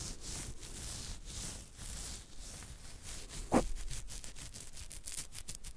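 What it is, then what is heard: Beard hair being scratched. Fingertips and nails scratch and rub a thick beard on the chin, with one hand moving across the jaw. Repeated raspy, bristly strokes carry a bright hiss over a soft low rumble, with one sharper, louder scratch about midway through.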